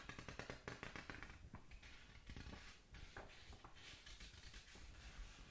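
Long nails scratch and rub across the paper pages of an open paperback manga, heard up close. The result is a quiet, continuous run of dry scratching and soft tapping textures, heaviest in the low range, with short, crisp high bursts that die away almost at once.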